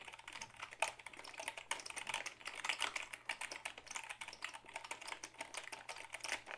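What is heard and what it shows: A black Dell keyboard of hollow plastic is held up and typed on with the fingertips, giving a quick, steady run of soft, bright clicks and taps. Each keystroke is crisp and dies away almost at once, with a faint low hum underneath and almost no bass.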